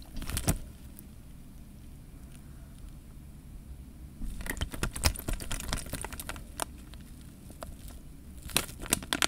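Fingers squeeze a clear plastic bag full of water close up, shifting the water inside. Bright crinkling crackles and sharp plastic clicks come in bursts at the start, through the middle, and again near the end, over a quiet, low, sloshing rumble in between.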